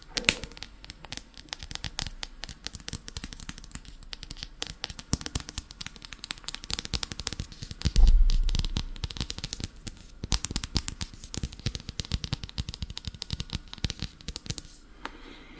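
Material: Paper.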